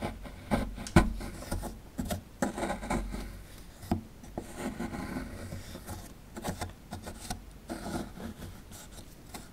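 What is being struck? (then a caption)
Plaster dig block scraped with a metal pick. A metal pick scrapes plaster away from partly exposed toy bones in a solid plaster fossil dig block. Dry, gritty scraping and rubbing strokes come in short bursts, mostly low in tone, with a few sharp clicks where the pick catches the plaster. Each stroke dies away almost immediately.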